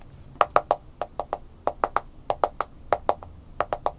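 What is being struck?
Smartphone in a plastic case.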